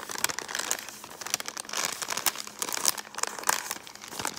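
An empty brown kraft paper bag, held up in front of a camera, is crinkled and scratched with long painted fingernails. Dense, bright crinkling and crackling fill the clip, with sharp snaps rising above it and almost no low end.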